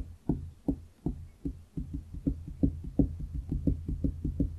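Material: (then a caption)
Wood. Fingertips of both hands tap and knock on a large solid wooden desk top in a quick, loosely regular series, about three per second. Each knock is a short, dull, low thud that dies away almost at once, some landing harder than others.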